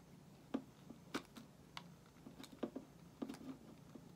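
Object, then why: Soap bar shaved with a metal blade. A solid white bar of soap held in the hand is shaved with a metal utility knife blade. Nine short, crisp scraping clicks come at an irregular pace over a quiet, steady low hiss. Each stroke snaps off quickly with a bright edge.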